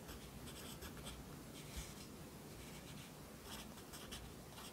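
A yellow wooden pencil held in the fingers writes across the page of an open lined paper notebook lying flat on a desk. The graphite gives a soft, continuous scratching on the paper, with faint bright strokes coming and going over a low, quiet rumble.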